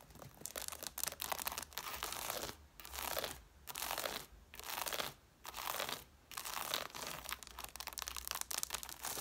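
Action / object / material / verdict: scrape / stack of cloth-bound hardcover books with paper page edges / cloth, paper / none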